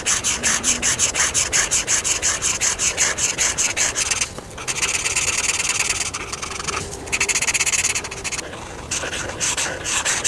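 A felt marker tip is rubbed back and forth by hand over a thin paper coloring book page with a camper drawing, lying flat, to fill in areas. Quick, bright scratchy strokes come in a steady rhythm for the first few seconds, then turn into longer, continuous hissy rubbing with short pauses between passes.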